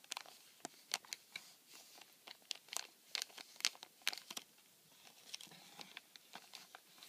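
Fingertips rub, scratch and crinkle the clear plastic film over the slot opening of a flattened, empty cardboard tissue box. Quiet, irregular bursts of bright crackling and sharp scratchy ticks come in an uneven string over a faint hiss, with almost no low end. Each crinkle stops abruptly with no ring.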